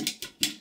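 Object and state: Glass LED tube that sounds like plastic.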